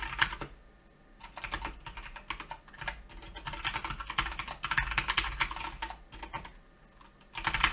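Both hands type rapidly with their fingertips on a solid Keychron K2 mechanical keyboard with brown switches, grey and black plastic keycaps and a red escape key, resting on a white desk. Bright, sharp plastic clacks come in quick bursts with brief quieter pauses in between.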